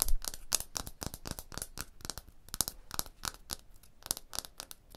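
Long blue fingernails and fingertips rub and scratch across a solid tooled limestone block wall. The result is a rapid series of dry, brittle scraping strokes with bright, hissy edges, each stopping short with almost no ring.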